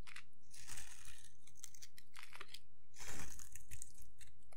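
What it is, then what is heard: Dry soap bar being shaved. A solid rectangular bar of dry green soap is held in one hand and scraped along its face with a metal blade, the curls falling onto a pile of soap shavings. Dry, bright crunching and crinkling scrapes come in bursts, the loudest around the middle and near the end, over a faint low hum.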